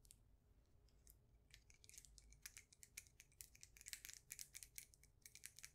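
A solid, faceted polished stone polyhedron is held close to the microphone and tapped on its flat faces with long nails. The result is a quick, irregular run of dry, bright clicks with almost no ring, over a faint low hum.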